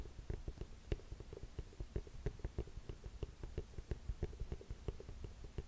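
A burgundy leather boot with a scuffed rubber sole, held sideways, is tapped and scratched by long fingernails along the sole and heel edge. The quiet, irregular taps are dull and low with short scratchy clicks, and they stop almost instantly with no ring.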